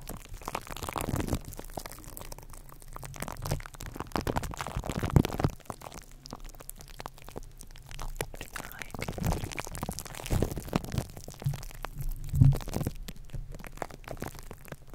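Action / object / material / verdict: scrape / metal wire-mesh microphone grille / metal mesh / none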